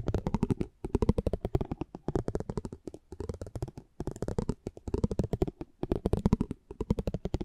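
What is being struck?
Small cardboard card with a metal spiked pinwheel rolled across it.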